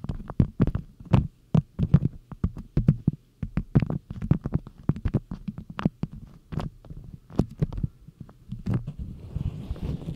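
A printed beeswax cotton food wrap is held close while long nails and fingertips rub and squeeze the waxed cotton. It gives dense, low crinkling with quick, sharp crackles, and toward the end it is wrapped tighter and the sound turns into a softer, hissy rustle.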